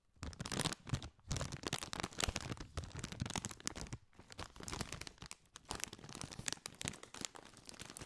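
A partly filled Doritos chip bag, made of foil-lined metallized plastic, is crinkled and scratched with fingertips. Dense, bright crackling and crinkling rolls on continuously, with brief quieter gaps near one and four seconds.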